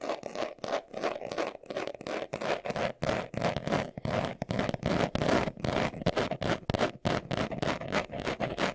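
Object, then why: Leather glasses case. Fingernails scratch quickly across the surface of a small, hollow, brown pebbled leather glasses case held in the hands. The result is a rapid, uneven run of short, dry, rasping scrapes, about three per second, with a hollow mid-range body and a bright papery edge.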